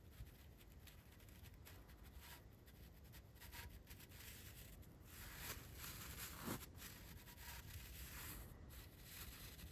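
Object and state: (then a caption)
Metal microphone body brushed with bristles. The bristles of a large paintbrush are brushed up and down over the blue painted metal body of a Blue Yeti microphone. Soft, airy scratching strokes rise and fall over a steady low rumble, growing a little louder and brighter through the middle of the clip before easing off again.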